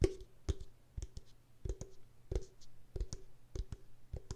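Long pink nails tap a pink translucent plastic body mist spray bottle, about 25 cm tall, with a gold spray cap and filled with pink liquid. The result is a series of short, dull, low taps, often in quick pairs, each with a faint hollow tone around 375 Hz that dies away almost instantly.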